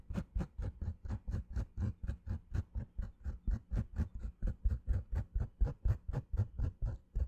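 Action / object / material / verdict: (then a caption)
scrape / fabric baseball cap / fabric / none. Long fingernails scratch a green structured snapback baseball cap with a fabric crown held near the mic, giving about thirty quick, dull scratching strokes at a steady pace of roughly two per second. Each stroke is a soft, low rasp that stops quickly, with a faint bright fizz on top.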